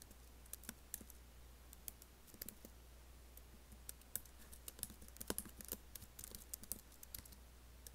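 Fast, light fingertip typing on a MacBook laptop keyboard with black plastic keys set in an aluminum body produces quick, irregular clicks and taps. The clicks are short and bright, with little ring, over a steady low hum. The typing stays soft throughout, with a few slightly louder strokes.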